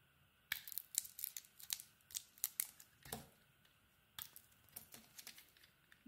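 A solid white soap bar with a blue snowflake pattern is shaved and carved with a metal utility blade. Each stroke gives a quiet, dry, crisp scrape, bright and hissy with almost no low end, in an uneven series with brief pauses and no ring afterward.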